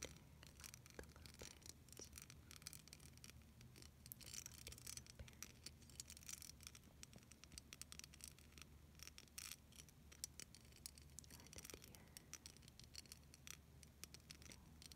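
A clear plastic beaded snowflake ornament rests in one palm while long silver nails scratch and tap across its bumpy bead surface. Quiet, rapid, dense bright clicks and scratchy ticks, each dying almost instantly, run continuously over a steady low hum.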